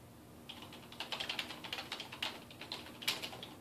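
Fingertips type rapidly on the keys of a dark plastic desktop keyboard resting on a wooden desk. After a brief quiet start, a quick run of bright, crisp clicks follows, with each keystroke decaying fast and almost no low-end weight.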